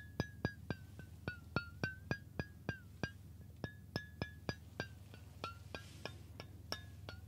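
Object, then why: Stainless steel water bottle. Fingertips tap the body of a hollow stainless steel water bottle held horizontally in both hands near the ear, giving 22 quick, unevenly spaced metallic pings. Each tap rings briefly at a bright pitch around 1.5 kHz with higher overtones, over a steady low background hum.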